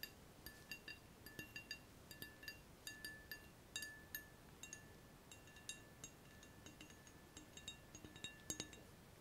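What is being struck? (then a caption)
Glass two-neck round-bottom flask. Fingernails tap the necks and bulb of a clear, hollow, empty glass round-bottom flask with two frosted ground-glass necks while it is held. The result is a quick, irregular series of light, bright glass clinks, each ringing with a faint tone near 1.7 kHz and fading almost at once over a quiet hiss.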